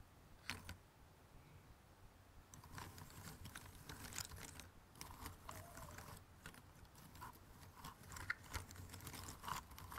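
Fingertips and nails rummage and scratch through a pile of thin cardboard jigsaw puzzle pieces in an open cardboard box. Soft, dry rustling and scraping builds after a quiet start, with many quick ticks and clicks of pieces shifting against each other over a low, steady background.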